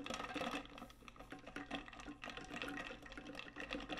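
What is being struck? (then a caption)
Stainless steel tumbler. Long nails tap and scratch the body of a large, hollow, metallic pink stainless steel tumbler with a lid and straw. The sound is a quiet, dense stream of quick clicks and bright scratchy rasps over a faint metallic ring. Each tap dies away almost immediately.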